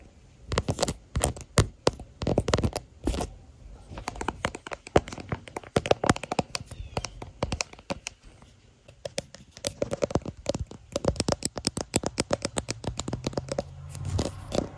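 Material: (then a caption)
Plastic. Long nails tap and scratch the back of a clear hard plastic floral phone case around the smartphone's camera module, with the phone itself recording. The result is a dense run of sharp, dry clicks and brief scratches close to the microphone. A faint low hum rises near the end.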